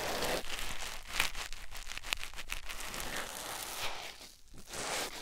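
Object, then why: Foam sponge on silicone ear. A white foam sponge block held in the fingers is rubbed against a silicone ear microphone. It makes a close, bright, crinkly rustling with scratchy friction and brief crackling ticks, dipping into a short near-silent pause before the rubbing resumes.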